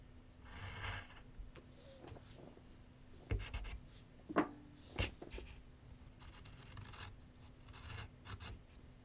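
A graphite pencil writes and scratches across a large white paper sheet mounted on a board with solid backing, set on a wooden easel. Soft, dry scratchy strokes come in bursts over a steady low hum, with three sharper taps standing out near the middle of the clip.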